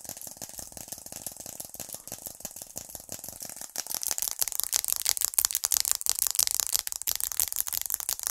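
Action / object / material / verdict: tap / glass and aluminium smartphone / glass / none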